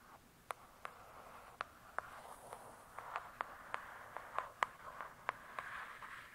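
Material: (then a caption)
Cardboard. Long acrylic nails slowly tap and scratch the glossy paper-covered cardboard cover of a thick, solid hardcover book lying flat. Fifteen short, sharp clicks ring around 1 kHz with bright edges and die away almost instantly. A soft, steady scratching hiss runs between them.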